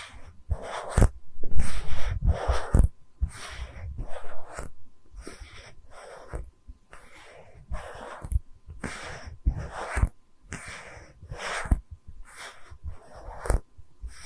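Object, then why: Small round wooden tree slice. Long red nails tap and scratch a small, round, solid wooden tree-slice stand with visible rings, held in both hands. Soft, breathy scratching bursts alternate with short, sharp taps that have dull low thuds beneath them, at an uneven pace with brief quiet gaps between.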